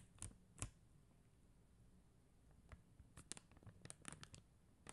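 Long acrylic nails tap and scratch across a flat sheet of faceted plastic rhinestone gem stickers. Two sharp, dry clicks come first, then a quiet pause before a cluster of quick, bright ticks and scratchy brushes with almost no ring, all over a low, soft background hum.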